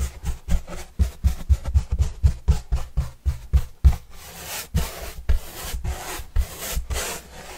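A paintbrush is stroked across the surface of a large, flat, hollow white corrugated cardboard pizza box with green edges, held upright. Quick, rhythmic brush strokes, about four per second, each give a soft, deep, hollow thump under a dry rubbing scratch. Later the strokes turn into longer, airier, brighter swishes.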